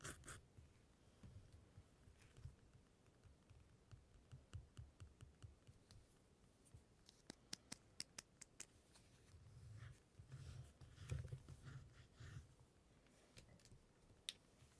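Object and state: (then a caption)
Glossy magazine page being scratched. Fingertips with short nails rub and scratch over a thin, flexible glossy printed page of an open magazine lying flat, working around the printed model's hair with no tool in hand. The quiet recording carries soft, dull low rubbing with swelling scratchy passes and a run of sharp, bright paper ticks and clicks.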